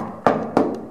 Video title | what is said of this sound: Battleship Texas- Armor Armor Everywhere.... Well Almost | you can hear it's rather thin and it's just standard steel mild steel plating used for non-water tight bulkheads